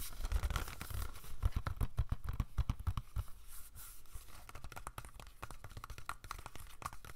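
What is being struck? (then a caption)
Plastic DVD case. A hollow plastic Slumdog Millionaire DVD case is held in hand while fingernails tap and scratch its back and spine. Quick, irregular clicking taps with dry, short scratches sound over soft low thumps, louder in the first three seconds and lighter after that.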